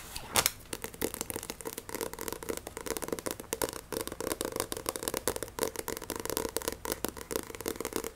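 Fingernails tap fast on the glossy card cover of a solid Shaman King paperback manga and grip it, making a dense stream of crisp, bright clicks and scratchy rustles with a steady mid-range body. A louder tap stands out near the start, and the quick clicking then continues without a break to the end.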